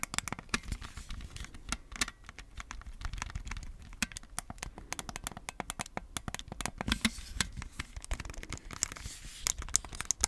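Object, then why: Plastic game controllers in a plastic grip. Fingertips tap, scratch and click the buttons of red and blue plastic Nintendo Switch Joy-Con controllers held in a black plastic grip, which is hand-sized and hollow. A dense run of sharp, dry clicks and taps with bright, crisp edges comes through over soft scratching and low hollow thumps, each sound dying away almost instantly.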